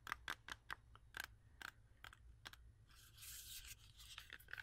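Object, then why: Whole apple. Long acrylic nails tap and scratch a whole, solid, fresh red-yellow apple with a sticker on it. Quick, dry, clicky taps with a bright, hard edge are heard, broken by a longer, hissy scratching stretch in the middle before the tapping resumes. The sound is quiet and close, with no ring after each tap.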